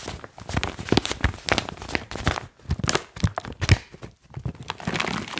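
A crumpled, foil-lined plastic chalk bag is squeezed and crinkled by fingers, then lifted up and shaken. Dense, irregular bursts of crackling crinkle follow one another closely, with soft low thuds under bright, papery rustle and brief quiet gaps between handfuls.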